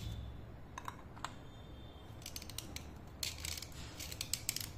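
A thin, solid slate pencil, held in fingers with long painted nails, is scraped dry with a utility knife blade. Short, bright scratching clicks come in scattered bursts over a low, steady hum, growing denser and louder in the second half.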